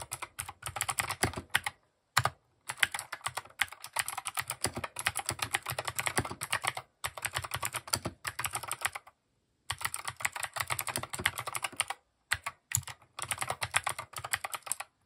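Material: Plastic.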